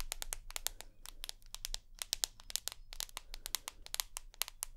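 Long nails tap and scratch the glass screen and aluminium side edge of a rose gold iPhone. A rapid, uneven run of sharp, dry, bright clicks sounds with no ring, over a faint low hum.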